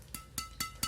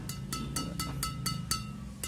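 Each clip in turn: First: Badminton racket strings, bright ring with short sustain. Second: Badminton racket strings with a bright, slightly sustained ting.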